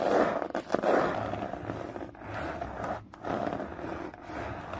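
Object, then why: Hardcover book. Long fingernails scratch along the spine and cover edge of a thick hardcover book lying on its side. The result is a steady, rough midrange scraping with brief dips and swells as the strokes change, with little low rumble or bright hiss.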